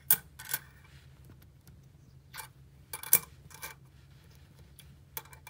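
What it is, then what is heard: Small metal coins clicking together. A few small gold- and silver-coloured metal coins on a dark tabletop are moved, stacked and clicked together by fingertips with long nails. About eight sharp, bright metallic clicks and taps sound in quick clusters, each dying away almost at once over a faint low hum.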